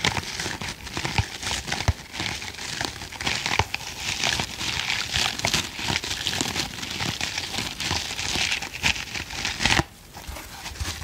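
A hand-sized green foam kitchen sponge with a tan middle layer is held upright in both hands while fingertips and nails scratch and squeeze the foam. The result is a dense, bright crinkling and crackling texture with frequent sharp scratchy clicks. It drops abruptly quieter near the ten-second mark before the scratching picks back up.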